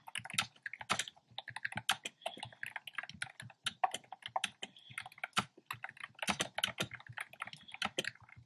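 Fingertips with short nails type on a black plastic keyboard with hollow, round retro-style plastic keycaps in cream, pink and red. The result is a steady, uneven run of quick, clicky taps with a bright, clattery edge and almost no ring. No voice is heard.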